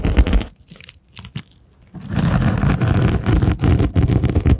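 A small purple rhinestone-covered case, held horizontally in front of the microphone, is scratched and rubbed with rubber miniature hands worn on the fingertips. Dense, crunchy scraping starts, drops to faint scattered taps for about a second and a half, then returns as steady, bassy rubbing to the end.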